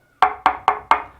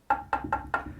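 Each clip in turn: First: hollow plasterboard wall. Second: plasterboard solidly backed by adhesive dab.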